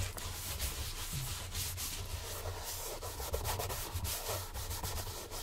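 A gloved hand brushes and buffs an empty, hollow brown leather Santoni oxford shoe on a stand with quick strokes, with a matching shoe nearby. The clip is a steady run of rubbing, swishing strokes: bright bristly hiss over a low rumble, with small surges in loudness but no sharply separate hits.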